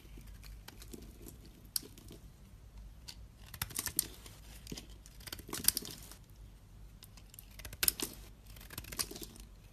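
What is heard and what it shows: A utility knife blade slices and scrapes a solid yellow bar of soap held in one hand, raising curls. Quiet, bright, crackling scrapes run throughout, with sharp, short crisp ticks standing out now and then over a low background hum.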